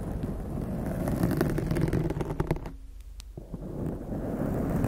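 Long acrylic nails of both hands scratch and lightly tap a soft, porous blue foam windscreen covering a large condenser microphone. The result is a dense, muffled, low rumbling scratch with quick soft taps and faint high crackles, dipping briefly quieter near the three-second mark before the scraping resumes.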